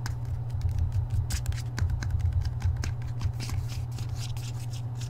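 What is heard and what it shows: Fingertips quickly tap and scratch the edges and front cover of a hardcover book with a paper dust jacket, held in both hands. Rapid, dry papery taps and scrapes with bright clicks sit over a steady, dominant low hum.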